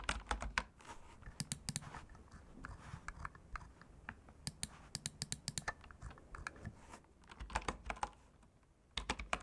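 Fingertips type rapid key presses on a full-size bamboo wood computer keyboard resting on a cork desk. Short, crisp clicks with a bright top and a soft low thump come in quick bursts separated by brief pauses, each click dying away almost at once.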